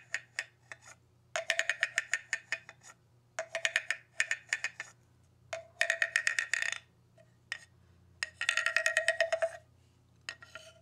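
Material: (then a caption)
Bamboo. A hollow bamboo tube with a ridged, slatted section, held in hands with long red nails, is struck and scraped with a round-headed wooden stick mallet. Bursts of quick, dry, hollow knocks alternate with rattling scrapes across the ridges. They carry a woody tone near 1.9 kHz over a lower resonance around 650 Hz, and each click dies away almost instantly, with brief quiet pauses between runs.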